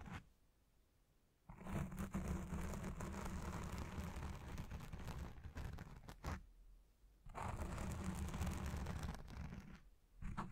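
Red-nailed fingers scratch a black foam windscreen dome on a Blue Yeti Pro microphone, the hand partly covering the dome at times. Dense, rough scratching and crunching with a heavy low rumble comes in two long stretches separated by quiet pauses, with a brief burst at the end.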